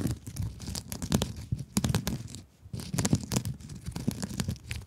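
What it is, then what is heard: Mesh scrub sponge. Long acrylic nails scratch a rectangular blue glittery mesh scrub sponge held close to the mic. The result is dense, crinkly scratching with a heavy low rumble and repeated sharp bright bursts. The scratching pauses briefly about halfway through, then resumes.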